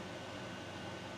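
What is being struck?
Nothing is struck.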